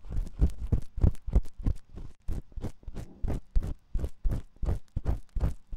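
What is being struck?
Silicone ear of a binaural microphone.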